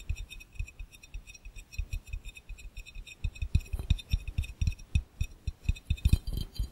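An empty, hollow, clear round glass fishbowl is tapped very fast with the fingertips of both hands. The taps come as a rapid, steady stream of short, dull, low thumps with a faint bright glassy ring above them. They are soft at first and grow louder and more pronounced from about halfway through.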